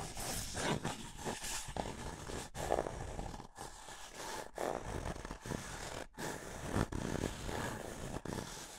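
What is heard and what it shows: Fingertips rub and scratch the outer surface of a small, empty, hollow white paper cup held close to the microphone. The result is a continuous dry, papery rustling and scraping with a hollow tone, broken by a few brief pauses.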